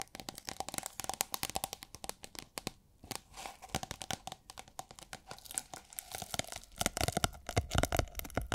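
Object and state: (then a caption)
Thin plastic film tube, crinkling. Long nails scratch and tap on a hollow tube of thin holographic plastic film, making the film crinkle. Quick, irregular crisp taps and crackly scratches run throughout, with a faint steady tone near 700 Hz and bright highs. There is a brief lull around three seconds, and the tapping grows louder and denser toward the end.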